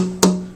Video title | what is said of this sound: Dana talking tops | a good ring and that's what I'm listening for